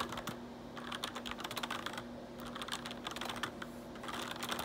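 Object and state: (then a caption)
Plastic computer keyboard being typed on. Fingertips type and tap on the keys of a black plastic RGB backlit computer keyboard, making quick, bright clicks in uneven bursts with a short pause near the middle. A faint steady low hum runs underneath the tapping throughout.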